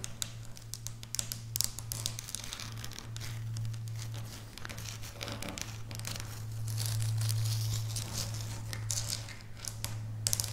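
Long bare natural nails of both hands tap and scratch across a flat pinkish speckled felt or carpet-like mat lying on a solid table. Dense, crinkly scratching and quick bright taps run throughout over a steady low hum, swelling slightly louder in the middle.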